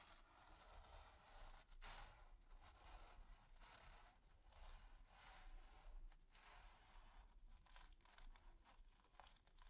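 A stiff natural-bristle brush is rubbed and scratched rapidly over a flat, taut, finely textured grey primed canvas. It makes a steady, dry, raspy scratching with crackly bursts that rise and fall in loudness over a low, soft rumble.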